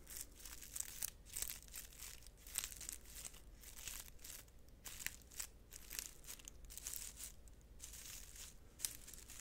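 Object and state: Dry, brittle dried-flower bundle.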